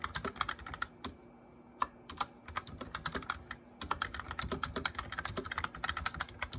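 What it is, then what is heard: Plastic mechanical keyboard. Fingertips with nails tap rapidly on the keys of a white backlit plastic mechanical keyboard with a hollow case while typing. Quick, sharp, clacky keystrokes come in bursts, with two brief lulls and a faint steady low hum underneath.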